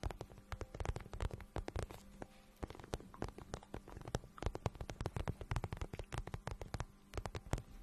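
A hollow, glossy pink patent vinyl boot is held in the hands while fingertips and long nails rub and tap its patent surface. Quick, close-up taps and soft scratchy rubs follow one another in an irregular stream. The sound is dull and low-heavy, with short bright clicks over a faint low hum.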